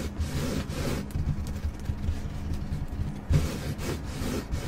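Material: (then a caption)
Carpet. Long acrylic nails on both hands scratch and rub the fibres of a flat, solid, black carpeted car floor mat in a Jeep. The result is a steady, muffled, low-pitched rubbing and scraping with little high-end hiss, swelling into a louder scratchy burst about two-thirds of the way through.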